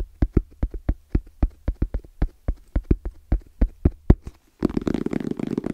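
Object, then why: Fabric-covered EVA foam hard case. Fingertips tap on the face and edges of a small, closed, hollow black zippered hard case with orange trim and a fabric-covered EVA shell. A quick, steady run of dull, low, muffled knocks dies away almost instantly. After a brief pause it ends in a dense flurry of rapid tapping.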